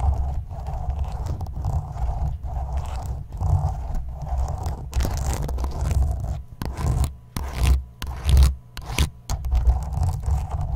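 A small translucent plastic spoon held in the fingertips is scraped and rubbed across the black woven metal mesh grille of a condenser microphone's hollow dome. The result is a deep, rumbling scratch that runs steadily at first, then breaks into choppier, uneven bursts of scraping.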